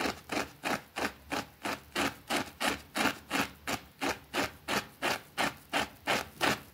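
A white plastic brush scrubs a small, thin, soapy green fabric rug on a concrete floor while a finger holds the rug in place. Twenty steady, evenly paced scrubbing strokes each make a short, bright, rasping swish that fades quickly, with little low-end weight.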